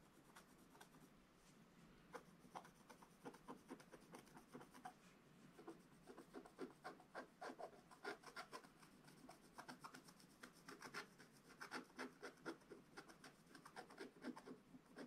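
A wooden stylus scratches the coating off a flat, black wax-coated scratch-art paper page, working over a dog figure. Short, dry, crackly scratching strokes with bright edges come at an uneven pace of about four per second. They sit quietly over a soft background hiss.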